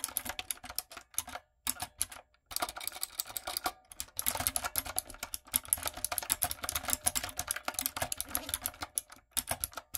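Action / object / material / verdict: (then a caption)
tap / mechanical keyboard with round plastic keycaps / plastic / none. Long nails and fingertips type on a retro typewriter-style backlit mechanical keyboard with round plastic keycaps. The result is a steady stream of bright, sharp plastic clicks and clacks, with only a couple of brief pauses early on.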